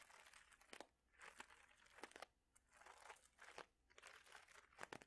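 A clear plastic bag of small mosaic tiles is squeezed so the tiles clack together, and crinkled with fingertips. Soft, bright crinkling rises and fades in bursts, punctuated by sharp, dry clicks that die away instantly. The sound is quiet throughout, with almost no low end.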